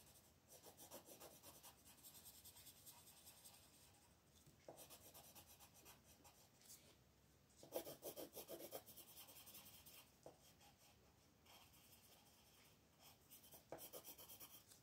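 A black colored pencil shades a thin paper coloring sheet lying flat on a table, scratching and rubbing it with fast back-and-forth strokes. The result is bursts of dry, raspy scratching with a bright hiss and a midrange grain, with short pauses between runs and the loudest bursts near the middle and end.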